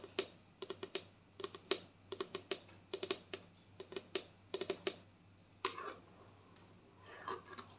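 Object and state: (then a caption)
Plastic lotion bottle. Long nails tap across the front label of a white plastic lotion bottle with a green cap. About 25 quick, dry, clicky taps come in uneven clusters, each with a hollow mid-toned knock and a bright edge that stops almost at once. A longer scratchy brush near the end gives way to a soft rustle and a few last taps.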